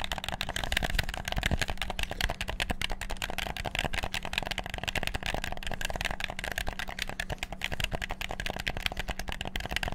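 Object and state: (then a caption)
Plastic game controller. Thumbs and fingers rapidly click the buttons of a hollow, black PS4-style plastic gamepad, producing a dense, continuous stream of short, dry plastic clicks with a bright edge. A faint steady low hum runs underneath for the whole ten seconds.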